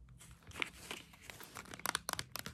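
A small cardboard crayon box full of crayons is turned in the hands and tapped on its sides and front with long acrylic nails. Soft papery rustling and crinkling give way to about ten sharp, bright, dry taps that cluster toward the end, each dying away instantly.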